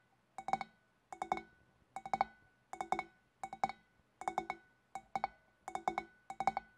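Long black nails tap with both hands on the shoulders of a large, hollow, empty clear glass fish bowl. Nine quick bursts of about three taps each make short, bright clinks around a mid-pitched glassy tone, each dying away almost at once, with brief silences between bursts.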